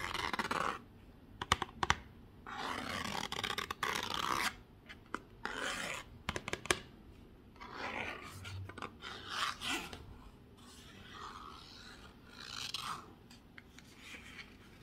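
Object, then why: Cardboard perfume box. Fingertips and nails rub and scratch the textured surface of a closed, hand-sized, rectangular black cardboard Narciso Rodriguez For Her perfume box, held in both hands and hollow with the glass bottle still inside. Bursts of dry, raspy scratching and bright rubbing alternate with sharp little ticks and quiet pauses, with almost no ring after each sound.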